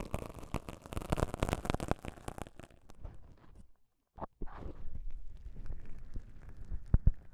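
Two small folded pieces of thin, soft, beige self-adhesive (cohesive) elastic bandage fabric, one held in each hand, are squeezed and rubbed between the fingertips up close. This makes soft, low, crackly rustling and sticky crinkling, dense for the first few seconds, then fading to near silence around the four-second mark. The rubbing resumes with a brief sharp crackle, then a steady muffled rustle with a couple of louder pops near the end.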